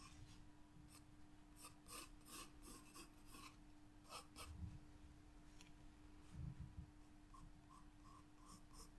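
A graphite pencil held in the fingertips draws repeated lines across a white paper page of a spiral-bound sketchbook. Quiet, raspy scratching strokes come in short bright bursts over a low rumble and a steady faint hum, with a few louder, fuller strokes along the way.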